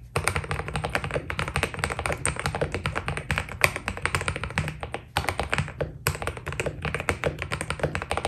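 A white Keydous NJ80 mechanical keyboard with PBT keycaps is typed on quickly with the fingertips of both hands. It produces a dense, steady stream of short, crisp clicks and clacks with bright high overtones. Brief gaps fall near the five- and six-second marks, and a constant low background hum runs underneath.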